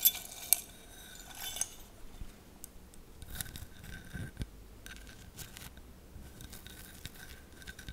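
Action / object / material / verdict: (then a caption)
tap / glass mosaic tealight holder / glass / none. A round, hollow, fist-sized tealight holder covered in colourful glass mosaic tiles, apparently empty, is held in the hands close to the mic and tapped and scratched with long painted nails. Sharp, bright glassy clicks open the clip, followed by quieter, irregular taps and a soft, high scratching texture.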